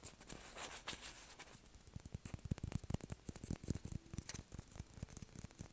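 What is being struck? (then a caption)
Plastic ping pong ball. A small, hollow, white plastic ping pong ball is held between the hands and tapped and scratched with fingernails. A rapid run of soft, dull taps and light scratches comes through, each click dying almost instantly over a steady bright hiss.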